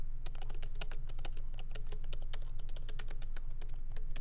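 Continuous fingertip typing with both hands on a MacBook Pro laptop keyboard with low-profile plastic keys set in a solid aluminum body. Rapid, irregular clicks with short, bright transients sound over a steady low hum.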